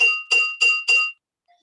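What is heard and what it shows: A spoon taps four times on a container holding very little water, the lowest of four fill levels that each give a different sound. Each tap rings bright and high, centered near 2.8 kHz, and fades within about a quarter second.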